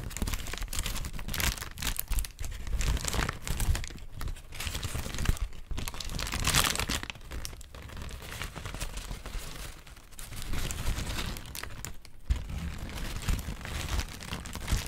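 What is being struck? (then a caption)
Thin paper sheet. A thin, white, wrinkled sheet of paper is stretched and crinkled with the fingertips. It makes a steady stream of dense, bright crackling and crinkling, with short louder bursts and a soft low rumble underneath throughout.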